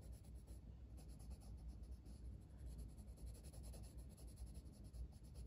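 A red wooden colored pencil is drawn across a flat paper page of a coloring book in small strokes, its lead rubbing the paper. The result is a quiet, steady scratchy rubbing with soft, uneven pulses from the short back-and-forth strokes, carried over a low, dull rumble.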